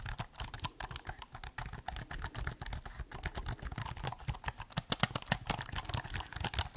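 Fingertips type and tap on the black keys of a silver metal or plastic laptop held open, producing a rapid, uneven run of short, dry clicks with a bright edge. The taps grow sharper and louder toward the end, and each click dies away almost instantly.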